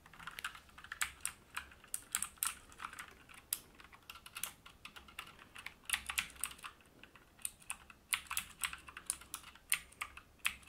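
Both hands type with their fingertips on a full-size AUKEY KM-G3 mechanical gaming keyboard, with black plastic keycaps on a brushed metal top plate, resting on a wooden desk. Rapid, bright key clicks come in uneven bursts, each one short and crisp with almost no ring and very little low end.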